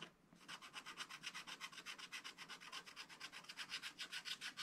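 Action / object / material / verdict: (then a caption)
scrape / black-coated scratch art paper card scratched with a wooden stylus / coated paper / none. A wooden stylus scratches grass strokes along the bottom edge of a flat black-coated scratch art card. It makes a quick, steady run of short, dry, bright scraping strokes, about four per second, with almost no low end. Each stroke stops dead with no ring.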